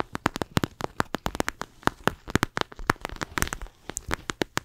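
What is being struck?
Plastic eye mask filled with gel beads.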